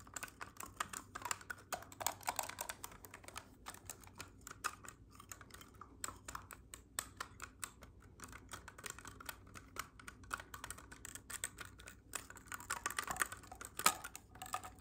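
A hollow black clarinet with silver metal keys is held upright and then horizontal while fingertips tap and press its keys. The result is a quiet, steady stream of light, rapid clicks and clacks with short bright edges, resembling fast typing.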